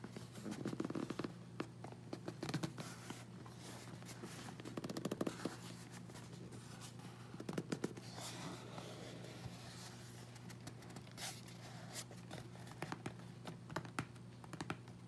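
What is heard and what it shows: A closed, hollow, medium-sized corrugated cardboard Amazon box with tape and labels is held and turned in both hands while fingertips and nails tap and scratch its sides and labels. The result is a steady stream of dry, quick taps and scratchy rustles over a low, constant hum.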